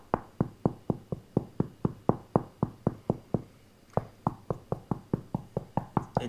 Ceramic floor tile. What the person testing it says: tapping it to see if it sounds Hollow it doesn't it sounds much different much better than earlier